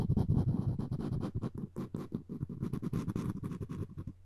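Floss string wrapped around a solid wooden spoon handle is rubbed back and forth against it. The result is a dense, low, scratchy rubbing made of rapid, irregular strokes with little brightness, ending softly.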